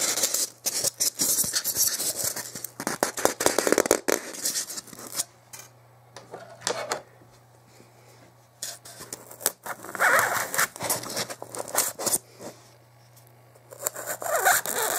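A long, solid white expanded polystyrene block on a wooden table is handled by fingers, then a knife or pointed tool tip is scratched and dragged across its top surface. Bursts of bright, squeaky scraping and rubbing alternate with quieter gaps, over a faint steady low hum.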